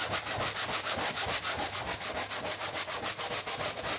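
A long-handled stiff-bristle push brush scrubs a large, dirty, rainbow-colored woven rug that lies flat on the floor, soaked and foamy, with rubbing and scratching strokes along the pile. Quick, steady back-and-forth strokes make a continuous bright, hissing scratch with a wet swish and very little low end.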